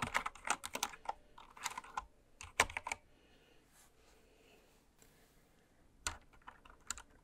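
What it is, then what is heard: Plastic mechanical keyboard. Slow typing with long red nails and fingertips on a full-size, white-cased mechanical keyboard with pastel plastic keycaps lying on fabric. Bright, short clacky keystrokes come in quick bursts for about three seconds, then give way to a near-silent pause. A few more scattered taps follow near the end.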